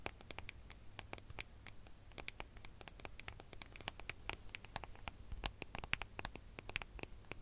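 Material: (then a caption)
Metal. Long fingernails tap and scratch across the gold metallic back of a smartphone, making a steady run of quick, bright clicks and rasping scratches. Each click is short and dry with no ring, and the taps sit over a faint low hum.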